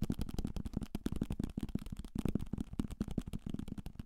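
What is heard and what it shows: A solid paperback novel, held close to the microphone, is tapped aggressively and fast with fingertips and nails on its cover and page edges. The result is a rapid, uneven string of dull, low, papery thuds that stop dead with no ring.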